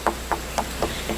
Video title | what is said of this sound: GOT A FREE AMAZING TOUR THANKS TO HITCHHIKING - HITCHHIKING MEXICO (DAY 14) Merida, Uxmal | when you knock on it it's hollow